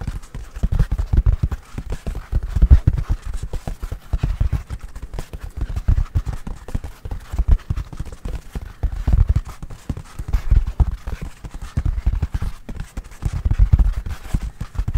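A full roll of white toilet paper on a hollow cardboard core is held up and tapped quickly on its outer surface with the fingertips and nails. The result is a steady stream of soft, dull, clip-clop-like thumps, deep and short with almost no ring. They come in uneven rapid bursts throughout.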